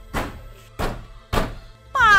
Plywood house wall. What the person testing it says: At kapag kinalampag, parang may kumakalansing.